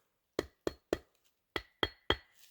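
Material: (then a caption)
Wood. A 12 to 16 inch section cut from a dead, dry standing tree is tapped six times with a hatchet to check that it isn't rotten. Each tap is a short, dry, hollow knock with a bright ringing edge and almost no decay. The wood sounds good and solid.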